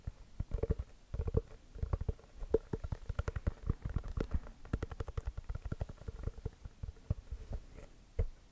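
A full-size inflated orange basketball with a pebbled composite leather cover is held in one hand and tapped and scratched with the fingertips and short nails of the other. Quick, dull, hollow thumps with a low body and a faint resonant tone around 445 Hz come in dense irregular runs with soft scratchy texture between them, each dying away almost at once.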